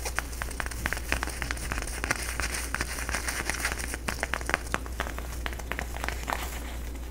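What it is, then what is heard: Plastic tinsel decoration being crinkled. Fingertips and nails rub and crinkle the strands of a flat, orange, face-sized plastic tinsel jack-o-lantern decoration held close to the microphone. It makes a steady dry rustle with many sharp, bright crackles scattered throughout, over a low constant hum.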